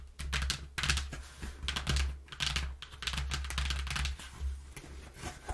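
Long nails tap rapidly on a brown corrugated cardboard box, then its flap is lifted and handled. Bursts of dry, bright clicking and papery rustle come and go over a steady low hum, with each tap dying away quickly.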